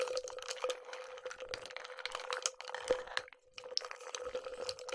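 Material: Glass.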